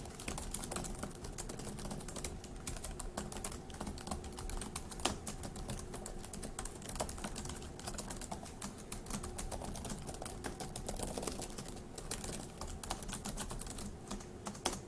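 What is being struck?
Plastic laptop keyboard.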